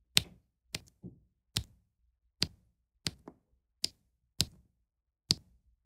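A plastic drill pen taps small solid round resin diamond painting drills into place on a flat adhesive canvas about 30x30 cm, while a white plastic tool presses down on the placed rows. About ten light, separate clicks are heard, each a bright, dry tick with a faint soft thud underneath that dies away almost instantly, with near silence between them.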